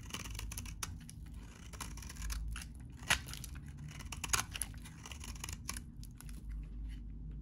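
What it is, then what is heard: Dry soap bar being shaved. A utility knife blade shaves curls off a very dry, solid, hand-sized, cream-colored vintage soap bar held in one hand. Crisp, brief scraping crackles and sharp ticks reach up into the bright highs, with a few louder snaps near the middle. A steady low rumble sits underneath throughout.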